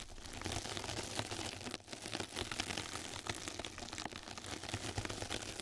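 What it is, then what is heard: Mesh bath sponge being scratched. Two mascara brushes scratch and brush across the surface of a flat yellow knitted-mesh scrub sponge pad laid over a microphone. The result is a steady, dense, crackly rustling with bright, crisp detail and a faint low rumble, easing briefly for a moment partway through before continuing.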